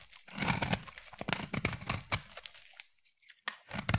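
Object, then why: Bar of soap. A utility knife blade shaves curls off a palm-sized, solid green striped bar of soap. The result is a run of dry, crisp scraping and crackling strokes with bright edges and a soft low body. It goes quiet near the three-second mark before the shaving picks up again at the end.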